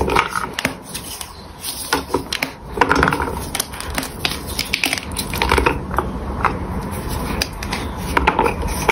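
A solid, palm-sized bar of pink gym chalk is snapped and crumbled into chunks by the fingers of both hands on a stone surface, close to a microphone that is not touched. Dry, crisp snaps and cracks come in quick irregular bursts over a soft, gritty crumbling rustle, each break dying away almost instantly.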